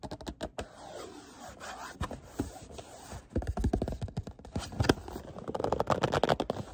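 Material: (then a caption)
Cardboard. Fingernails tap and scratch the faces of a small, hollow, printed white cardboard product box with a barcode, held in the hands. Dry, quick taps with almost no ring mix with soft scratchy rubbing, mostly low and mid in tone. The tapping grows denser and louder toward the end.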